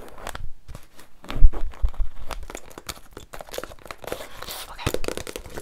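A paperback book with a glossy cover is turned in the hand while its cover and edges are tapped and scratched with long nails. The result is a close, busy stream of soft taps, crinkly scratches and brief rustles, with a few dull, low thumps as the book shifts in the hand.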